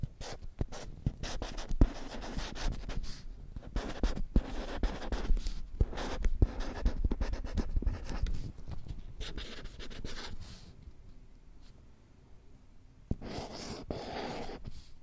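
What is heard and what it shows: A flat, thin children's printed alphabet whiteboard with a green plastic frame is held at an angle while fingertips and long nails scratch and rub its glossy printed face. Dense, dry scratching and rubbing sounds come in quick bursts with low thumps. The sound fades quieter near the end before a brief brighter rubbing returns.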